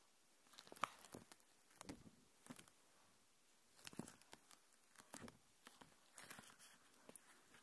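A thin, translucent plastic protective film sheet is held in both hands and folded, stretched and crinkled with fingertips and long dark nails close to the recorder. Quiet, irregular bursts of bright, crisp crackling come and go with short silent gaps between them, and there is little low end. Each crinkle stops dead with no ring.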